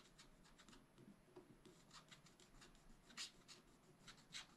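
A wooden stylus scratches across a black wax-coated scratch-art sheet in a spiral-bound pad. The result is quiet, uneven, bright scratching strokes with a soft hiss, and a couple of sharper, louder strokes stand out near the end.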